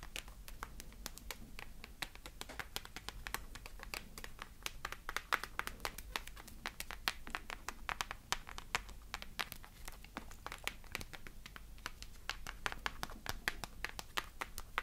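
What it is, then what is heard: Plastic pony toy. Long nails tap rapidly on the plastic body of a small hand-held pink hard-plastic pony figure, hollow and with synthetic hair. The clip is a quiet, dense stream of sharp, dry, bright clicks that stop instantly with no ring. A faint low hum runs steadily underneath throughout.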